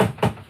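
A knuckle knocks on a wooden cabinet in a shed, one that is about to be worked on, as a knock-on-wood gesture for good luck. The knock is short, dull and low-pitched, around 184 Hz, with little high-end brightness, and it fades almost at once.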